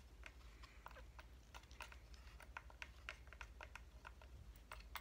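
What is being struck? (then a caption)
Flat cut-out light wood decoration. A hand-held flat cut-out reindeer decoration made of solid light wood is tapped and scratched with fingernails. Quiet, dry, clicky taps come in quick irregular succession, with faint scratchy rustling between them over a low steady hum. Each tap is short, bright and woody, centred around 2.2 kHz, and dies away almost at once.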